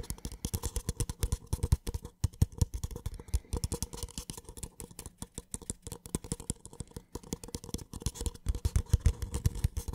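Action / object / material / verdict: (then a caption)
tap / small paper cup / paper / none. A small, empty, white paper cup is held sideways while fingertips tap and scratch rapidly on its wall. The result is a dense, steady patter of short, dry, hollow thumps with a low body and a faint scratchy rustle, continuing for the full ten seconds.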